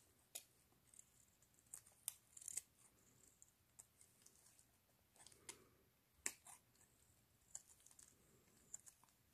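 A metal blade scrapes thin strips off a pale green solid bar of soap held in black gloves, while a second bar lies untouched nearby. Quiet, crisp, high-pitched scraping and cutting ticks come in short, scattered bursts with almost no ring. Soft, hushed shaving sounds fill the gaps between them.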